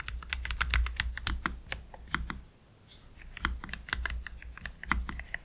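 Slow typing with the fingertips of both hands on a black Keychron K3 Pro low-profile mechanical keyboard with Gateron Red low-profile switches and PBT plastic keycaps, resting on a cloth deskmat. Soft, bright, clacky keystrokes arrive in an uneven rhythm with a brief lull near the middle, over a steady low hum.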